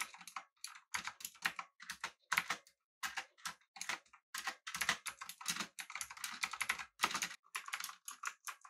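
Both hands type with their fingertips on a full-size backlit typewriter-style mechanical keyboard with an aluminum body and round plastic keycaps. Rapid bursts of bright, crisp clicking keystrokes come in quick runs separated by short pauses. Each click dies away almost instantly, with almost no low end.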